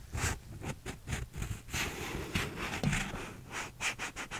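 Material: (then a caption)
Paper. Fingernails scratch the inner cardboard wall and rim of a small, hollow, empty paper cup with a blue textured plastic sleeve, held sideways. A series of quick, dry, raspy scrapes comes in uneven bursts, with a low hollow body under bright, hissy edges.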